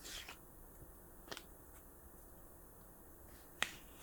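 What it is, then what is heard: Hollow plastic markers. Hollow plastic art markers are tapped softly, making short, dry, bright clicks with almost no ring over a quiet background hiss. The hollow plastic gives the taps a light, clicky tone.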